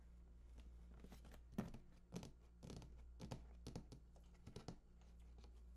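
Fingertips tap and scratch along the bottom edge of a large, hollow cardboard PS4 console box standing on its side. Soft, dry taps and brief scratchy rustles come in irregular bursts over a steady low hum, each tap a dull hollow thud that dies away almost at once.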